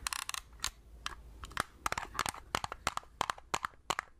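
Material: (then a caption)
Plastic. A small hollow plastic Agfa compact film pocket camera, held in both hands, is tapped with long red-painted nails. About 18 sharp, dry, clicky taps come in an uneven rhythm, some in quick pairs. Each has a hollow plastic tone near 1 kHz with bright edges and almost no ring.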